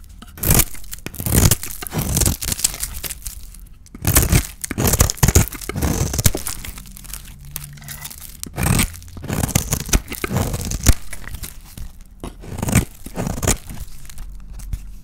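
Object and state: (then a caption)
Dry bar soap being shaved. A small metal blade shaves and scrapes curls off a hand-sized, dry bar of soap with a green painted coating and white interior, held in one hand over a pile of soap shavings. Repeated crisp, tearing scrapes and crumbly crunches come in short bursts with bright, dry edges, separated by brief quiet gaps and a low background hum.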